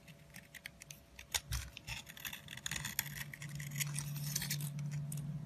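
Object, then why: Bar of soap scraped with a metal blade. A metal blade repeatedly scrapes and carves along a solid orange soap stick held in the hand, shaving off crumbly bits. It makes quick, irregular, crisp scratchy strokes with bright, hissy texture, over a faint low hum near 150 Hz that grows steadier and louder toward the end.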